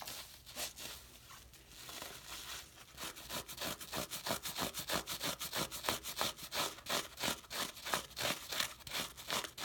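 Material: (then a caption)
Cellulose. A hand-sized, rectangular, porous yellow cellulose sponge soaked with soapy water is held in one hand over a foamy white sink while the other hand's fingertips and nails rub and squeeze the lather across its surface. Soft, hissy wet crackling at first builds into a quick, fairly steady run of bright, squelchy crinkling bursts, about three per second.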